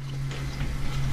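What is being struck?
Nothing is struck.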